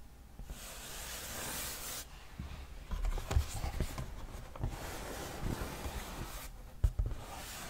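Fingertips and nails rub and scratch the glossy printed surface of a large cardboard board game box lid held close to the mic. The clip is soft, airy scratching and brushing with a bright hiss, broken by a few low, dull thumps and brief louder scrapes.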